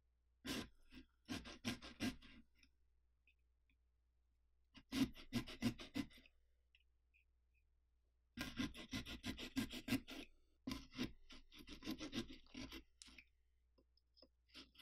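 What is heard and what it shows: A serrated carving saw cuts vertically through the rind of a large hollow pumpkin held from the top, sawing along the teeth of the carved mouth. Quick, scratchy rasping strokes come in four runs separated by quiet pauses, with a low body around 260 Hz under a bright, gritty edge.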